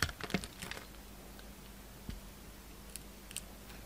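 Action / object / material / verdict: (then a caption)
scrape / bar of soap cut with a blade / soap / none. A yellow utility knife slices the top layer off a solid oval purple glitter DURU bar soap with a pink core, with scraping and cutting. A quick cluster of short, crisp scrapes and clicks comes first, followed by a few isolated bright ticks over a quiet, faint low hum.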